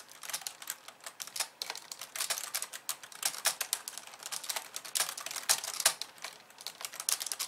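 A pink plastic computer keyboard with white keys is typed on with both hands by someone with long nails. The result is a steady stream of rapid, light, bright clicks and taps with uneven rhythm and almost no low end, each keystroke dying away almost instantly.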